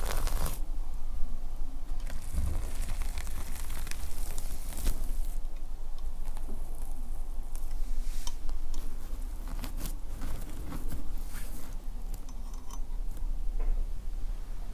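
Fingertips brush and scratch across the reversible red/black plastic sequin fabric cover of a notebook-sized notepad lying flat on a quilt, flipping the sequins. A steady, soft crinkling patter of small scratches and bright ticks continues throughout over a low rumble, with no pauses.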